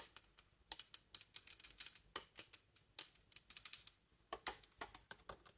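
Long nails tap rapidly on the metal keys, ring and polished wood of a large, hollow wooden bassoon joint. About 27 quick, quiet taps are heard, bright and clicky with almost no low end, each dying away almost instantly.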